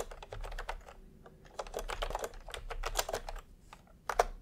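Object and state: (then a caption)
Plastic keyboard typing. Bare fingertips of both hands type fast on a full-size pastel plastic retro keyboard with round, typewriter-style plastic keycaps, resting on white fabric. Rapid, dry plastic clacks come in quick bursts with short pauses between, each tap dying away almost instantly. One louder key press stands out near the end.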